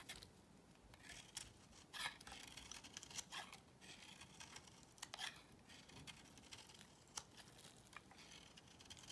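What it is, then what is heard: Bar soap shaved with a blade. A solid beige bar of soap held in the hand is shaved with a box cutter blade. Quiet, bright, crisp scraping strokes with a papery, crinkly texture repeat irregularly over a faint low hiss, each one short with almost no ring.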